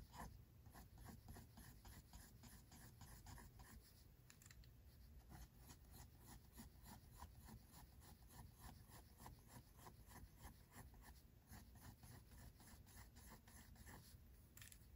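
A pink mechanical pencil shades quick hair strokes onto white drawing paper in a spiral-bound sketchbook. Quiet, steady scratching repeats in a fast rhythm of short strokes over a low, soft rumble.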